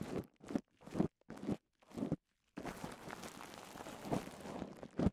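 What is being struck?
Polyethylene bubble wrap.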